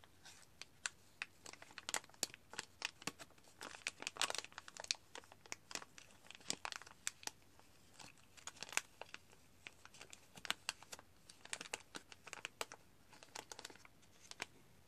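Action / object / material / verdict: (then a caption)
scrape / small paper spice sachet / paper / none. A small printed paper sachet of ground chilli is held in both hands and squeezed, folded and rubbed with the fingers. Quiet, bright crinkling comes in dense bursts of short, sharp crackles with almost no low end. Each crackle cuts off at once, with no ring.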